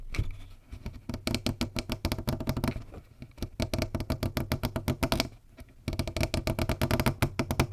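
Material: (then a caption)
Plastic. Fingertips and nails tap and scratch around the green plastic screw cap and top of a clear plastic Volvic bottle, roughly 1.5 L, hollow and partly filled with water. The result is a rapid stream of short, dull plastic taps with a low hollow body and scratchy clicks on top. The taps run in bursts, with brief quieter gaps near the start, around 3 seconds, and just before 6 seconds.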